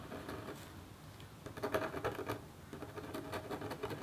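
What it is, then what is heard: Copper scratch art board. A metal stylus in a red holder makes small, repeated scratch strokes on a flat copper scratch art sheet near the bird's head. The result is a quiet, dry, gritty scraping in short bursts, with a slight midrange tone and bright edges.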